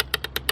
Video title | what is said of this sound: (Sold) 2017 Open Range Ultra Lite 2410RL Rear Living Travel Trailer by Highland Ridge RV | You can kind of hear that little tinking on there. This is aluminum screw trim instead of plastic.